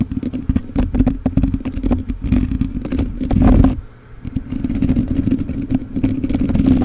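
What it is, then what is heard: Metal mesh microphone grille being scratched. Fingertips and nails of both hands scratch the bare black metal mesh grille on the hollow capsule head of a rhinestone-covered USB microphone. The result is a dense, rapid run of rough scrapes and clattering taps over a boomy low rumble with a steady hollow resonance. The scratching swells to its loudest just past the middle, dips briefly, then picks up again.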